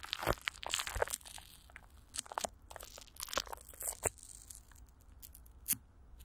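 Long nails and fingertips scratch and grip clear plastic film, with Vaseline, stretched over a hollow microphone grille. The result is a run of close, dry crinkling and crackling bursts, bright and sharp with little low end and almost no ring, separated by brief quiet gaps.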